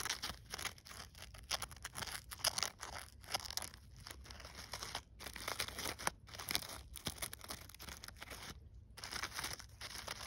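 Fingers with long nails rub and crinkle the burlap petals and glitter-coated leaves of a gold glitter artificial poinsettia lying on snow. The result is a dense, dry, bright crinkling and scratching with a rough, tearing texture, broken by a few brief pauses.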